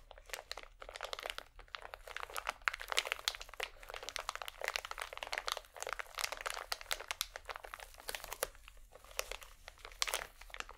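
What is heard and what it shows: A small, full pack of cotton swabs in crinkly plastic wrap is squeezed and scratched with fingertips and painted nails. The result is a steady stream of dense, bright crinkling and crunching, with many quick, sharp crackles that stop short and have almost no low end.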